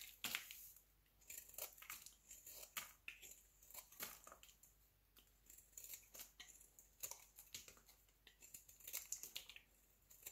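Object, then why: Bar of soap shaved with a knife blade. A solid rectangular pink bar of soap, held in the hand, is shaved into curls with a utility knife blade. The result is a quick run of crisp, bright scraping and crinkling strokes that come in clusters, each fading almost at once, with short quiet gaps between the bursts.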